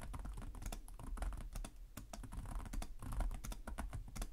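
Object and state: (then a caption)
Plastic laptop keyboard being typed on. Fingertips of both hands tap rapidly on the low-profile plastic chiclet keys of a black plastic laptop keyboard with a hollow device body, in continuous typing. The result is a quick, uneven stream of short, light clacks with bright tips over dull, low, hollow thuds, each dying away almost at once.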